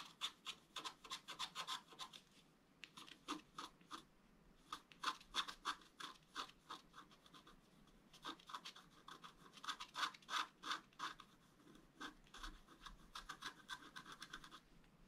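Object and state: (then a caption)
Scratch art paper being scraped. A pointed wooden stylus held in fingers draws lines across a flat, roughly letter-size sheet of black wax-coated scratch art paper with colorful foil underneath, lying on a table. Quiet, bright, dry scratching strokes come in quick, uneven runs of about three per second, with short pauses between bursts.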